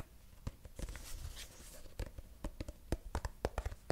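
Fingertips and short nails tap and scratch the flat surface of a medium-size, apparently filled, mint-green soft plastic cosmetic tube held close to the mic. Around twelve short, dull, low taps land with almost no ring, and a soft, brighter scratching rustle fills the stretch in between.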